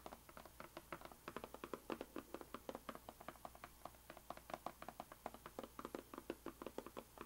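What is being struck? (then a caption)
Small rigid cardboard box. Fingertips and long painted nails tap and lightly scratch the surface and edges of a small, closed, white rigid cardboard puzzle box lying on a bamboo mat. A quiet, steady run of dozens of short, dry, hollow taps with a mid-low body comes through, each dying away almost instantly, with faint scratchy rustles between them.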